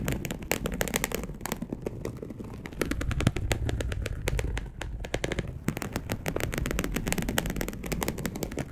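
Long acrylic nails of both hands scratch rapidly across a dark polyester mesh fabric bed sheet. The result is a dense, continuous run of quick, crackly scrapes with a heavy low rumble underneath, sharp clicks on each stroke, and very little ring.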